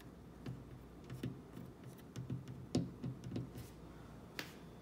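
Long black-painted fingernails tap and knock on the frame and panel of a dark-stained, hollow-panel wooden kitchen cabinet door; its metal knob is not struck. Eleven short, dull, hollow knocks with a low body and crisp nail clicks sound at an irregular pace, each dying away quickly over a quiet background.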